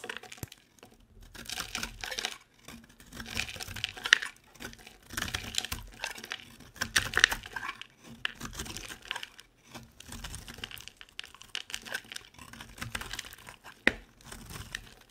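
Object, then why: Bar of soap. A utility knife blade scrapes and shaves dry flakes from the surface of a hand-sized, solid, oval orange bar soap with round holes cut through it. Irregular bursts of crisp, crinkly, bright scraping come and go, broken by short quiet gaps and a few sharp clicks.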